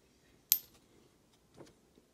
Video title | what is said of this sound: Is this Canadian Maple Leaf gold coin real? | with a higher speed of sound it would sound something like this